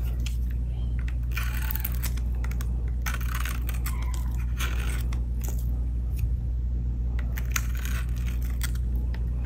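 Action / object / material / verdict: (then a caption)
scrape / glycerine soap bar cut with a blade / glycerine soap / none. A solid orange glycerine soap bar painted blue, held with long decorated nails, is shaved again and again with a utility blade. Each stroke gives a bright, dry crunchy scrape as flakes break off, over a steady low hum.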